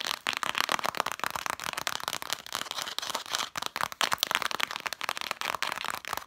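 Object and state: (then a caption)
Cloth-bound book spines. Long matte dark nails scratch and tap quickly along the red cloth spines of a stack of vintage books. The result is a dense, dry patter of short, bright clicks mixed with rough scratching, with almost no low end and no ring after each tap.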